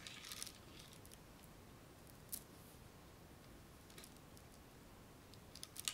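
Long fingernails scratch across the rows of a spool of gold plastic bead string held in the hands close to the microphone. Quiet, bright clicking and rattling scratches come in short bursts near the start, middle, and end over a soft, steady hiss.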